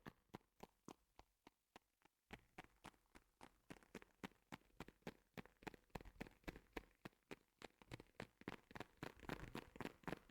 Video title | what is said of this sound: ASMR with noise cancelling headphones 😴 Tingly, Soothing Sounds for relaxation | tapped to make a very nice gentle and equally squidgy sound